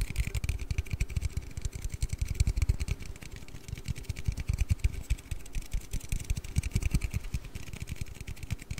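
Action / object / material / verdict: tap / aluminium drink can / aluminium / none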